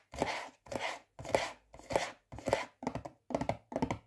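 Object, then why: Plastic butter spread tub lid. Fingertips and nails tap on the lid of a yellow plastic butter spread tub, producing quick thunky taps with a hollow midrange tone. The taps come in short, irregular clusters separated by brief pauses, each dying away almost at once with no lingering ring.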